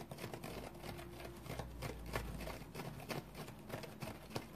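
A large, round, dry yellow synthetic foam sponge, shaped like a sea sponge with big open pores, lies on a towel and is scratched with fingernails. The result is quiet, irregular, dry rasping and crackling strokes with bright scratchy edges over a steady low hum.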